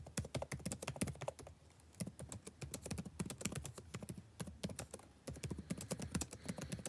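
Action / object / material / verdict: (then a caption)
tap / plastic chiclet laptop keyboard / plastic / none. Fingertips type on a backlit laptop keyboard with plastic chiclet keys, producing a rapid, uneven run of short, dry taps. Each keystroke has a low, soft thud with a bright click on top and almost no ring. The typing pauses briefly near the two-second mark, then resumes at a steady pace to the end.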